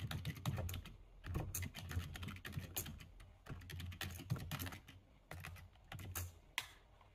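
Fast typing with the fingertips of both hands on a full-size black plastic computer keyboard. It makes a rapid, uneven stream of short, dry clicks with a low thud under each keystroke, pausing briefly between bursts.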